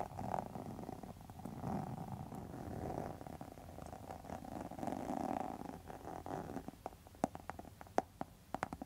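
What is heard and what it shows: Long metal nail tips scratch across the face of a pink textured faux leather wallet, making a steady, soft rasping scrape with a midrange tone. Toward the end the scraping thins into a few sharp, separate clicks and taps.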